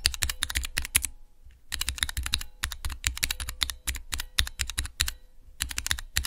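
Fingertips type fast on a small, hollow plastic switch tester fitted with clear plastic keycaps over Cherry MX switches. The result is a rapid run of sharp, bright clacks over a low, hollow thump, each one dying out almost instantly. A brief pause breaks the run early on before the typing resumes.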